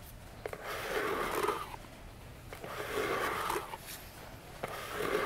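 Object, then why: Small cardboard box. Long fingernails tap and scratch the sides of a small, hollow orange cardboard box with a silver logo standing on a table. Three sharp taps are heard, each followed by a drawn-out, rasping scratch with a faint hollow tone.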